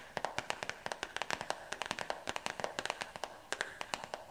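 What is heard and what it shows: Long fingernails rapidly tap and scratch the stiff cardboard cover of a black-and-white marbled composition notebook with paper pages. About 30 quick, dry clicks come in uneven bursts, each one short with almost no ring and a bright, papery edge. Some echo may be added to the sound.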